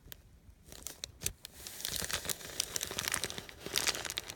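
A hand-sized, wrinkled sheet of thin white paper with faint text, resting on a canvas cushion, is rubbed and crinkled under the fingers and palm, possibly with small tears. Sharp, bright crackles and crinkles start sparse and quiet, then build into a denser, louder rustling after the first second and a half. The sound is mostly high with very little low end.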